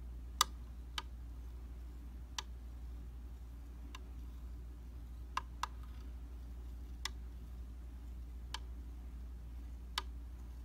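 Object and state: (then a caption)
Glass makeup mirror tapped. A slim metal-ended tool taps the surface of a dry, round glass vanity mirror. Eight sharp, bright ticks ring around 1.2 kHz and die away almost instantly, spaced irregularly. A steady low hum runs underneath throughout.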